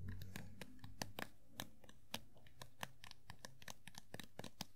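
A small hollow vinyl Funko POP figure of Sailor Pluto is held sideways while its green hair is tapped with long nails and fingertips. A quick, irregular series of soft, sharp clicks and light taps sounds, each dying away almost instantly with a bright edge, over a faint steady low hum.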